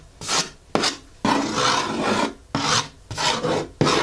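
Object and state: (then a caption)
Cardboard shoe box. Long fingernails scratch and tap on the closed lid of a medium-size blue printed cardboard Hoka shoe box for Clifton 8 running shoes, resting on a wooden table. Six separate raspy, rubbing strokes of varying length are heard, with a bright, dry filing texture and only a brief ring after each.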